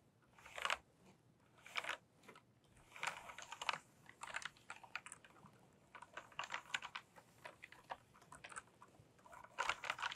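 Fingertips with long painted nails type on a pink plastic tenkeyless mechanical keyboard with tall keycaps. Quick runs of short, dry, bright clacks come in uneven bursts separated by brief pauses. The sound is quiet overall, with no low-end thump and almost no ring after each keystroke.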